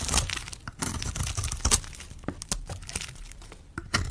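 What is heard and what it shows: A metal blade scrapes and carves the face of a hand-sized red solid soap bar held in the fingers, shaving off flakes. Dry, crumbly scraping and crackling come in irregular bursts, with sharp bright crunches over a low, rough rasp.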